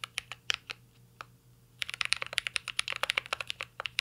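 Fingertips type on a mint-green CyberBoard R3 mechanical keyboard with a metal case and plastic keycaps, giving 24 short, bright clacks that die away almost instantly. A few scattered keystrokes come first, then a brief pause, then a quick, steady run of taps to the end.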